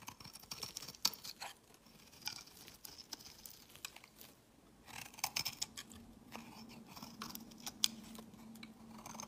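A solid, rectangular, translucent amber bar of soap is held in the hand and shaved with a utility-knife blade, peeling off pale curled shavings. Quiet, bright, crisp scraping and crunching strokes come in bursts, with a few sharp clicks as the blade bites. A faint low hum sits underneath in the second half.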